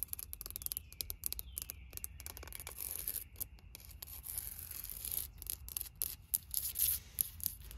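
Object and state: Concrete garden stepping stone.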